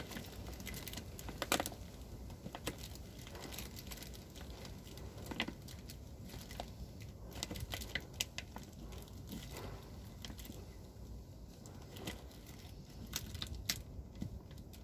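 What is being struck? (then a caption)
Woven plastic rice sack. Fingertips pinch, crinkle and scratch the plastic at the top edge of a large white plastic rice sack that appears full. Quiet, dry crinkling and scratching with many short, bright ticks over a soft low rumble runs steadily throughout.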